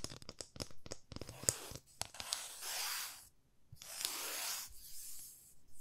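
A long, thin, solid flat wooden ruler with printed markings is held at both ends and tapped and scratched with long manicured nails. A quick run of sharp, dry clicking taps is followed by two longer, bright, hissy scratching strokes, with faint ticks between them, all at a quiet level.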